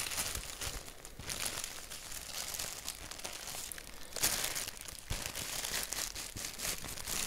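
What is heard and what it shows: Fingertips scratch and tap a thin white paper sheet printed with a black doodle, making a steady, bright, crinkly rustle. A sharper, louder crackle rises about two-thirds of the way through, then the dry papery scratching continues to the end.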